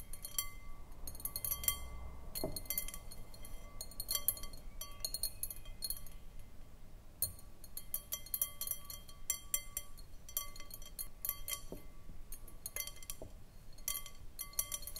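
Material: Glass.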